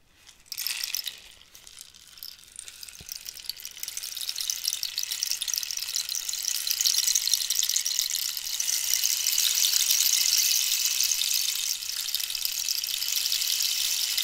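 A hollow cactus wood rainstick is turned from horizontal to an angled position, sending its pellets cascading inside, while long nails scratch along it. A short bright scrape at the start gives way to a thin, rattly patter that swells into a steady, bright hiss like falling rain, with almost no low end.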